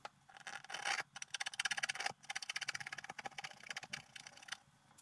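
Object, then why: Coated scratch-art paper scraped with a wooden stylus. A wooden stylus makes rapid, repeated short scratching strokes across a flat coated scratch-art paper card lying on a table, while the other hand holds the sheet still. The strokes come as quick bursts of dry, bright scraping with almost no low end, pausing briefly before continuing in steady runs.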